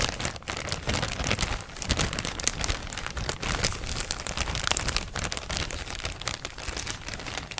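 A thin, empty, yellow printed plastic shopping bag is crinkled and scratched with fingers and nails. It makes a steady, dense crackling that fills the whole clip, with bright, high rustle over a soft low rumble and no pauses.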